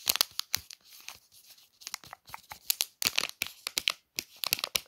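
Long nails trace and scratch across the printed plastic wrapper of a Palmolive soap pack, making crisp, bright crinkling and rustling. The sound comes in quick, irregular bursts with short pauses between them. It sits almost entirely in the high range, with no low end.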